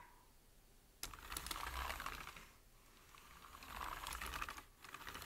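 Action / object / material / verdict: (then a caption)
tap / plastic computer keyboard / plastic / none. Fingertips type on a full-size black plastic computer keyboard. After a second of quiet, bursts of rapid, clicky key tapping come in quick irregular runs with short lulls between them, each tap sharp and dry with a bright clatter.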